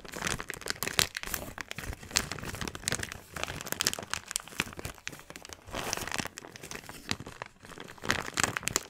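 A small, thin, empty transparent plastic bag is squeezed, folded and crinkled between both hands. It makes a dense, continuous run of bright crackles and crinkles, with louder bursts scattered through the clip and little low-end weight.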